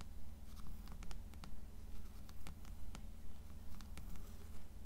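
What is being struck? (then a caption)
Paperback book with paper cover. Long acrylic nails tap and scratch the cover of a blue paperback copy of "Canticle" resting on a stack of other paperbacks. About twelve short, dry, bright clicks come at a fairly steady pace between soft scratching, over a constant low hum.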